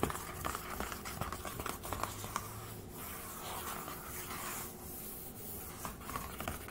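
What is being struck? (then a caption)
Aluminium laptop lid. Fingertips and nails rub and scratch across the silver aluminium lid of a closed HP laptop. The result is a steady, quiet texture of dry scraping with many small bright ticks scattered through it.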